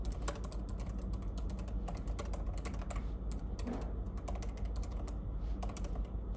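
Fingertips tap the plastic keys of a silver laptop in continuous typing, first with both hands and then with one. Quick, bright clicks fall at an uneven pace over a steady low hum.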